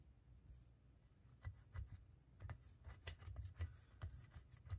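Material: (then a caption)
Plaster. A solid plaster gemstone dig block is scratched with a pointed wooden pick while the other hand holds the block. About ten short, quiet scrapes and taps stand out, each with a soft low thump and a brief bright scratch that stops almost instantly. Between them runs a faint, steady low rumble.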